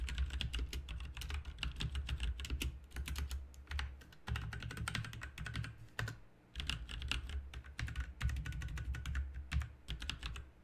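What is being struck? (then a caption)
Mechanical keyboard with plastic keycaps. Both hands type with their fingertips on a backlit RGB mechanical keyboard with plastic keycaps, producing a rapid, continuous stream of short, bright clicks and clacks that end almost instantly. A steady low hum sits beneath the typing throughout, and there is a brief pause just after the six-second mark before typing resumes.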